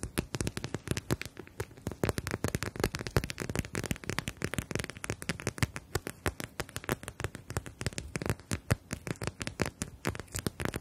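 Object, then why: Plastic gel bead eye mask. Long nails tap and scratch across the surface of a clear plastic eye mask filled with gel beads and edged in fabric, held in both hands. A rapid, dense stream of sharp, dry clicks and crackles runs throughout, each tap dying away almost instantly, with a faint scratchy rustle between them.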